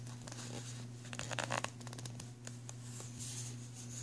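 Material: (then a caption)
Plastic. Fingertips and nails tap and scratch along the ridges of an empty, hollow-bottomed black ridged plastic pencil tray resting on a fabric bag. Quiet, bright scratchy rasps and short clicky taps bunch together in the middle, with a few isolated taps later, all over a steady low hum.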